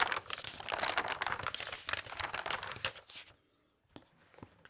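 Pages of a large glossy paper magazine are turned and flipped rapidly by hand, making a dense, bright crinkling and rustling for about three seconds. The sound then drops to near silence, broken by a few faint, soft page ticks.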